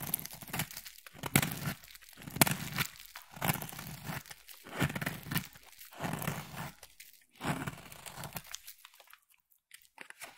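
A utility knife blade slices and scrapes a solid pink bar of soap in repeated strokes, each one a dry, crunchy, crinkling scrape. Flakes crumble off between pauses, and the clip ends with a few faint ticks.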